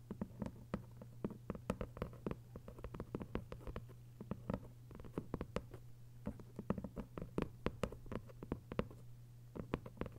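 Long white nails tap fast on a thick hardcover novel with a paper dust jacket lying flat, making a rapid, irregular patter of short, dry clicks that stop almost instantly. A steady low hum runs underneath the whole time.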